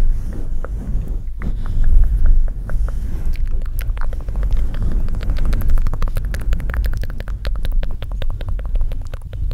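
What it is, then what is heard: Metal microphone grille tapped and scratched. Fingertips and short nails of both hands tap and scratch the metal mesh grille and hollow metal upper body of a black Blue Yeti USB microphone on its stand. The result is a dense, boomy low rumble with a steady deep hum underneath, topped by a rapid scatter of short, dry clicks that grow thicker in the second half.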